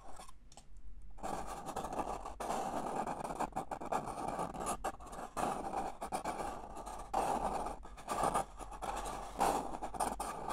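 Fingers scratch and rub the outer wall near the rim of a single empty, small, hollow red-and-white disposable paper cup held in the hand. After a brief quiet start, a steady, dry scratching and rustling rasp continues in uneven bursts. It carries a papery midrange tone with little low end.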